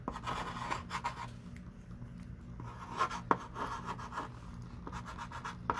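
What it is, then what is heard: Chalk writing on a chalkboard. A thick stick of pink chalk writes and underlines words on a small wooden-framed chalkboard lying flat, while the other hand rests flat on the board. Soft, irregular scratching and rubbing strokes carry a squeaky tone around 1 kHz, with a few sharper taps where strokes begin or end. A steady low hum sits underneath throughout.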